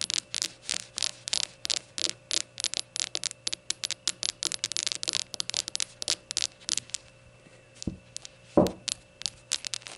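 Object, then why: Small glazed ceramic shot glass. Long nails rapidly scratch and tap the glossy surface of a small, hollow, rainbow-glazed ceramic shot glass, making a dense run of short, bright, dry clicks and scrapes with almost no ring. Near the end there is a louder, fuller knock as the glass is lifted, followed by a few sparse taps.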